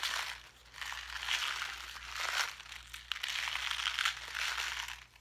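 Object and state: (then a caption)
Plastic blister pack being crinkled. A small clear plastic blister pack with a card backing, full of pink craft gems, is crinkled and pressed with the fingertips while held up. Bright, dry crinkling and crackling comes in uneven waves with sharp little clicks, mostly in the high range with almost no low end.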